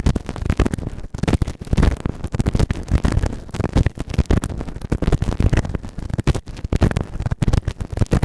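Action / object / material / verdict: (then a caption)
scrape / silicone ear model scraped with a plastic spatula / silicone / none. A white plastic spatula scratches and rubs inside the ear canal of a grey silicone ear microphone on a round base, the right ear. Dense, rapid scraping and rubbing strokes come through as a heavy, muffled rumble that is mostly low, with almost no bright content.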